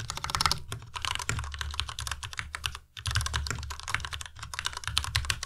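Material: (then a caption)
Plastic. Fingertips type fast on a white Ducky Miya Pro tenkeyless mechanical keyboard with plastic keycaps, producing a rapid stream of short, bright clacks over a low thocking body. The typing briefly pauses just before the three-second mark, then resumes at the same quick pace.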